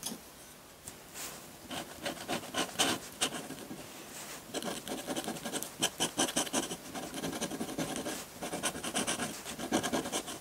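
A hand scratches ink lines onto a large flat sheet of textured white drawing paper on a table with a metal dip pen nib. Quick, dry scratching strokes come one after another, bright and raspy, with almost no low end. The strokes grow denser and louder after the first few seconds.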